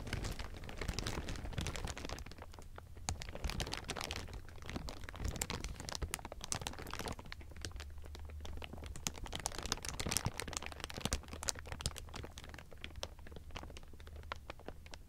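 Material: Plastic film.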